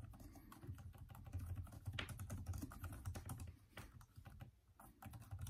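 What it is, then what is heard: Plastic laptop keyboard being typed on. Fingertips of both hands type continuously on a detachable Microsoft Surface tablet keyboard with plastic keys and green backlighting. The steady, irregular run of soft taps and light clacks is mostly dull and low, with brief bright clicks that stop almost instantly.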